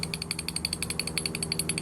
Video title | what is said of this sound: Gimbal Bearing Replacement on 1987 Bayliner Cobra 2250 OMC 5.7 V8 | that's a bad knock on my bearing